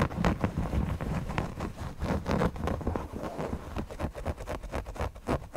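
Short nails and fingertips scratch the eyes, beak and body of a soft stuffed owl cushion made of printed cotton with stitched appliqué. The scratching comes as rapid, uneven strokes, about four per second. The strokes are dull and muffled, with most of the energy low and almost no high hiss.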